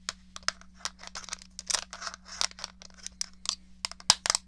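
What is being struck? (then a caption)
Plastic game controller. Long fingernails tap and scratch across the flat back of a small, hollow grey plastic SNES game controller. The result is a rapid, irregular run of short, bright, dry clicks with quick scratchy sweeps, each dying away almost instantly. A faint steady low hum runs underneath.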